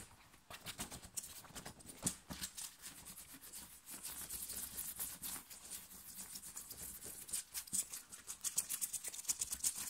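Fingernails scratch quickly and roughly across a thin, worn light blue cotton t-shirt on the chest, with fingers grabbing the fabric. The strokes come in fast, irregular bursts of bright, high, dry rasping with short crackly peaks and very little low end.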